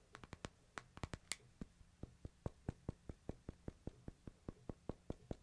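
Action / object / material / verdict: tap / glass-screened smartphone in a plastic case / glass, plastic / none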